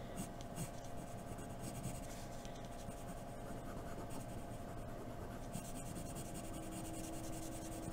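A hand draws neck and jaw lines with a graphite pencil on white drawing paper, scratching the surface. The soft, continuous scratching and rubbing stays at an even, quiet level throughout, over a faint steady hum.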